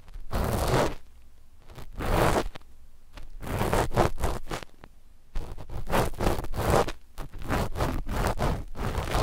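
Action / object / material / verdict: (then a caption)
scrape / knit fabric over a microphone scratched with cotton swabs / knit fabric / none. A flat black knit fabric sheet laid over microphones is scratched at the mic positions with the cotton tips of two cotton swabs. The result is a run of dry, rustling scrapes in short bursts with brief pauses between them, heavy in the low end and without sharp ringing.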